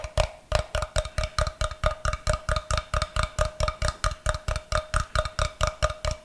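A solid rectangular block of light, unfinished wood is held upright close to the microphone and tapped with fingernails. About 33 quick, steady taps sound over six seconds, each a short, dry knock with a hollow tone near 600 Hz and a soft low thump.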